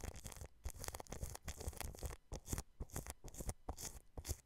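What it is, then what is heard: Cling film brushed over a microphone. A paintbrush scratches and brushes clear plastic cling film wrapped over a microphone grille, working from the side. Quick, repeated crinkly brush strokes come in bursts, each a bright, papery crackle over a close, heavy low rumble.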